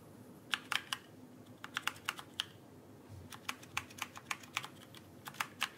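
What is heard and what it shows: Fingertips tap and press the plastic keycaps of a backlit mechanical keyboard held upright. The result is an irregular series of short, sharp, bright clacks with almost no ring, separated by brief quiet gaps over a faint low background hiss.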